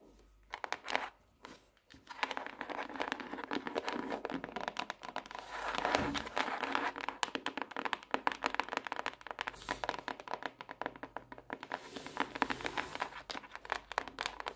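Long acrylic nails tap the front cover of a closed pink notebook with a hard cardboard cover and a solid stack of paper, lying flat on a wooden desk. A few scattered taps give way after about two seconds to a dense, continuous run of quick, dry, crinkly clicks. The clicks stay steady to the end.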